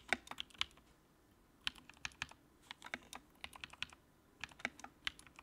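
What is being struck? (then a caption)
Plastic mechanical keyboard. Fingertips type on the keycaps of a compact white plastic mechanical keyboard with a backlight. Bursts of short, bright clicks and clacks come in quick runs separated by brief pauses, each stroke dying away almost instantly.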